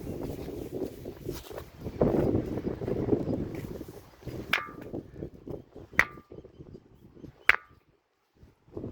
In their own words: It's called the ringing stone.